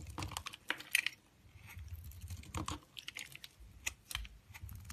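A cream-colored solid soap bar held in the hand is shaved with a yellow-handled utility knife blade. The result is a quick series of crisp, bright scraping and clicking sounds, each dying away almost instantly, over a faint low rumble.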